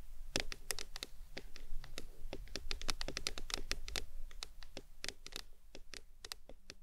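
Long nails tap and scratch the sides of a tall printed aluminum Arizona drink can resting on a towel. Quick, bright, dry clicks come in an irregular stream with soft scraping in between, over a low rumble. Each tap dies away almost instantly, and the taps grow a little quieter toward the end.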